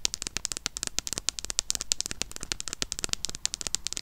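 Long nails rapidly tap and scratch a small closed Harry Potter eyeshadow palette with a red printed cardboard cover. The result is a dense, irregular stream of dry, bright clicks and ticks with almost no ring, and a faint scratchy hiss runs between the taps.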